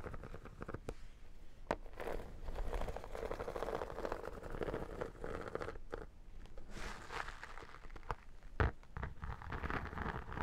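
Long dark nails tap and scratch the flat, embossed holographic vinyl cover of a square, iridescent textured vinyl photo album held in both hands. The result is a steady, soft crackling scrape with a dull low body, punctuated by a few sharper taps that stand out briefly above the texture.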